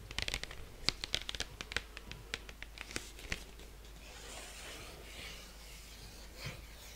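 A large, flat 12-inch cardboard album sleeve for Fleetwood Mac's Rumours LP is held up in both hands and scratched and rubbed with long painted nails. Quick, uneven, bright scratching clicks come first, then they give way to a softer, continuous hissy rubbing across the cardboard, with one last faint scrape near the end.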